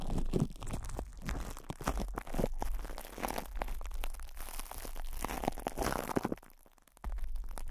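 Fingertips and short nails scratch and rub crinkly cling film wrapped over a hollow metal mesh microphone head, making dense, rapid crunching and crackling with a heavy low rumble. The sound runs continuously, drops to a near-silent dip just before the seventh second, then resumes.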